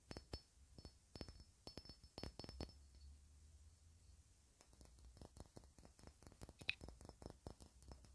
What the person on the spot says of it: The bottom really sounds so clean.